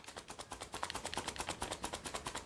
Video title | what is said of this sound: Best ro service kit in india -- Lexpure clasic+ Ro filter replacement kit | क्योंकि ग्रन्यूल फ़िल्टर का इस तरह से आवाज़ आता ही है